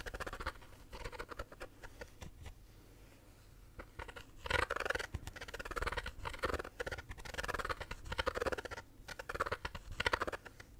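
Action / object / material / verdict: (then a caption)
scrape / plastic shaker bottle / plastic / none. A pink plastic shaker bottle is held sideways while fingernails scratch and tap its lid and bottom. The result is a dense patter of short, dry clicks and scratchy bursts with a hollow plastic tone, quieter around the two-to-four-second mark and busier afterward.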